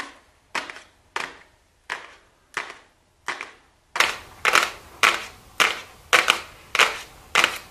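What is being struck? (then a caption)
Small flat cardboard box. Super long blue acrylic nails tap and lightly scratch a small, flat, hollow, gold-printed cardboard makeup box labelled "golden," held in both hands. A steady series of separate, dry, papery clicks with short scratchy tails rings out, each dying almost instantly. The taps turn noticeably louder and brighter halfway through.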